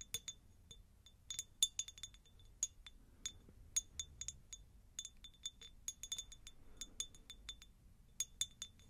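A textured, pineapple-shaped glass jar is tapped repeatedly, producing a quick, irregular run of light, bright glass clinks with a tone near 3.5 kHz. Each tap dies away almost instantly over a quiet background.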